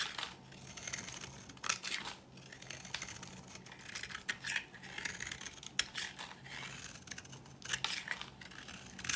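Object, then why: Bar soap scraped with a metal blade. A solid, dry green bar soap with an embossed surface is held in the hand and scraped with a metal blade, shaving it into flakes and powder. The sound is a steady, bright, crisp scratching and crinkling, with short, sharper rasps rising above it. There is almost no low end.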